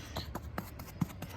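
Tapping on the artificial turf of a putting green to find a buried putting cup gives six soft, dull, low thuds. One tap sounds hollow over the cup, showing where the hole is so it can be marked with chalk.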